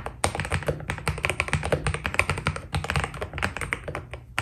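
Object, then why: Mechanical keyboard with PBT plastic keycaps. Continuous fingertip typing with both hands on a white Keydous NJ80 mechanical keyboard with PBT plastic keycaps. The result is a rapid, steady stream of short, crisp keystrokes, each with a low thocky body and a bright click that dies away almost instantly.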